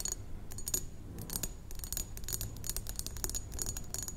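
A medium rectangular thick glass perfume bottle, partly filled with liquid, is tapped on its sides with long acrylic nails of both hands. A rapid stream of light, bright clicks and clinks with a faint high glassy ring follows, over a low background rumble.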